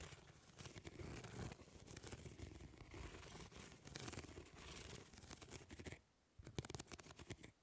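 Long nails scratch across the grid mesh of a plastic fly swatter, making a dense, rapid run of dry scratchy ticks with a low rumbling body and bright crackle. The scratching goes on steadily for about six seconds, drops to near silence briefly, then resumes as sharper, more separated ticks.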